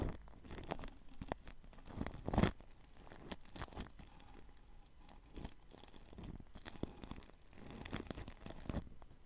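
A paintbrush brushes the side of plastic cling film wrapped over a ball microphone, making soft, crinkly rustling and scratchy strokes in irregular bursts. A louder crackling swipe comes near 2.4 seconds, and a few sharper crinkles follow later, against a close, dry hush.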